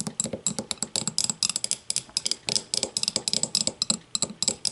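Long matte nails tap and scratch close-up on an empty clear glass tumbler turned upside down. About 27 quick, bright clicks come in an uneven run, each with a faint high glassy ring that dies almost at once. Soft scratchy hiss fills the gaps, with almost no low end.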